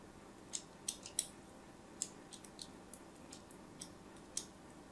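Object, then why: Bar of soap. A thin metal blade scores diagonal lines into the surface of a solid white rectangular soap bar held in a hand with pink nails. About twelve short, crisp, bright scraping ticks are heard over a quiet, steady background hiss, each fading almost instantly.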